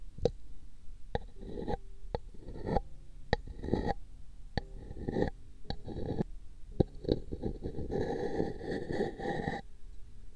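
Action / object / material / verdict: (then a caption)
scrape / paper cup / paper / none. A long thin brush strokes across a hollow pink paper cup fitted over a microphone ear, making scratchy, rasping brush sweeps. Sharp, brief ticks cut between the sweeps. The sound is soft and weighted toward the low end, with a longer run of continuous scratching near the end.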